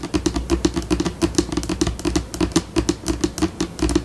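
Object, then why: Laminate tabletop. Long pink acrylic nails on both hands tap and scratch across a flat white laminate tabletop. Quick, irregular clicky taps come in bursts, each with a brief hollow knock around the low mids and a short bright scrape. The pace shifts between slower and faster runs.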